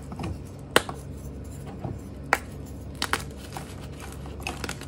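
A small solid block of purple and pastel dyed gym chalk (magnesium carbonate) is squeezed and crumbled by bare fingers over a pile of chalk powder, breaking into chunks and powder. Brief, dry, bright cracks and crunches stand out irregularly over a soft, steady crumbling hiss, each snap dying away almost instantly.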